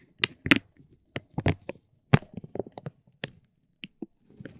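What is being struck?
Soft vinyl plastic bag around a tape roll.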